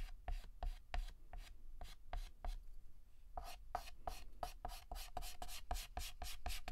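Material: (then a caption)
Chalk. Fingertips hold a yellow chalk stick and shade near the center of a flower drawn on a flat, solid black chalkboard. Rapid, scratchy strokes rasp against the board in quick bursts, pause briefly, then resume faster and denser until the end.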